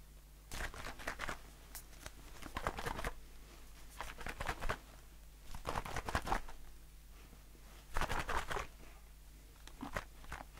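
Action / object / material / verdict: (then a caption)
tap / aluminium aerosol can / aluminium / none. A blue aluminium shaving foam aerosol can is held in one hand and tapped with the fingertips and nails of the other hand on its body and metal bottom. The tapping comes in short, irregular bursts of quick, dry clicks and light pattering, separated by brief pauses. A steady low hum runs underneath throughout.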